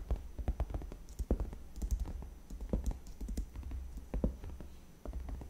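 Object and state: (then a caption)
Padded faux leather chair backrest. Long red-painted fingernails tap and scratch along the top edge of a large white padded faux leather (PU) AutoFull gaming chair backrest, which is soft and cushioned. The result is a quick, uneven run of short, dull, low thuds with little ring, mixed with faint bright scratching. At the end, both hands come to rest on the sides of the backrest.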